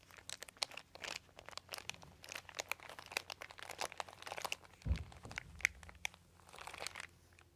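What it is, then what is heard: Crinkled plastic sheet. A crumpled, thin white embossed plastic sheet with a dotted texture lies on carpet while both hands press and crinkle it with the fingertips. Dense, crisp, bright crackles and crunches come in quick bursts throughout, with a brief duller low thump just before the fifth second.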